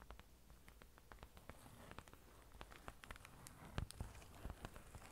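A flat card certificate in a plastic sleeve is held in both hands while long orange nails tap along its edges and front. Quiet, irregular crisp clicks and light patters follow one another quickly, with a few louder taps near the end.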